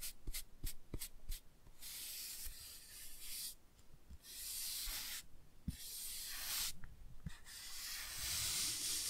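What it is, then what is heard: Toothbrush scratching a laminated cardboard book cover. A toothbrush is rubbed and scratched across the printed, laminated cardboard cover of a children's board book held in the hand. It opens with a quick run of short, separate scratchy strokes, then settles into longer bright, hissy scrubbing passages separated by brief pauses.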